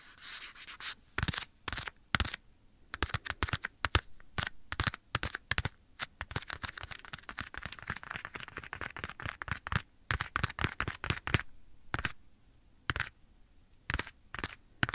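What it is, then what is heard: Leather glove. Bare fingertips scratch and rub across a black leather glove worn on one hand and held against the right ear of a binaural microphone. The result is a dense, irregular run of short, dry scratching bursts that sound soft, hollow and fabric-like, with bright crackle and brief quiet gaps between strokes.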